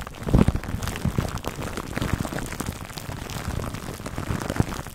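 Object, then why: Plastic cling film wrapped over a foam microphone windscreen. Fingertips and short nails scratch clear cling film wrapped over a black foam microphone windscreen. The result is a dense, close crinkling and scratching, heavy in low thuds, with brief rustling bursts like rain on a surface. Louder pops come near the start and end.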